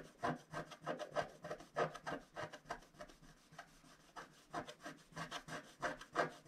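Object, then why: Coated scratch-art card scratched with a wooden stylus. A wooden stylus scratches quick vertical strokes at the bottom of a flat, black-coated scratch-art card held pressed flat by one hand. The result is a dry, rasping scratch repeated roughly three times per second in an uneven rhythm. Each short stroke carries a midrange rasp with a bright, papery edge.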